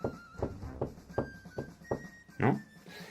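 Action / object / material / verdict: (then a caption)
tap / table top / unknown / none. A table is tapped softly to show that a softer blow makes a quieter sound than a hard one. Six short, dull thuds come at steady intervals, with the last one slightly louder, and each dies away almost at once.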